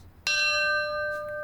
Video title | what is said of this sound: Mit dem Rad entlang der Nordsee: Sand, Sonne & Sturmflut - Wunderschön - ARD Reisen | Die klingt anders. - Durchdringend. Ja, Unterschied zwischen Messing und Guss.